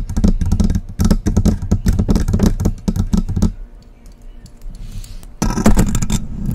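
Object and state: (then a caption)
Hollow metal microphone. Long press-on nails tap rapidly on the body of a hollow silver metal USB microphone, giving dull, bass-heavy knocks. Around the four-second mark the tapping gives way to a quieter, softer scratching on the top metal grille. Dense, heavy tapping then resumes near the end.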